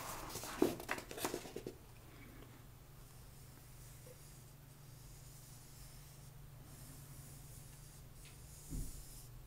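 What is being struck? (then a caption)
Paperback book with card cover. A paperback book held on its side has its card cover spine slowly scratched and rubbed by long nails. A brief cluster of dry, crackly scratches in the first couple of seconds gives way to a near-quiet stretch with a faint low hum. A single soft rub returns near the end.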